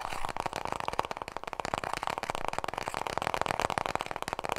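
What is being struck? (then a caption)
Paper toilet roll. Long nails tap rapidly on a small, full roll of white toilet paper held horizontally in both hands. A dense, steady stream of dry, papery clicks fills the clip, centered in the mid range around 785 Hz with little low end, and each tap dies away almost instantly.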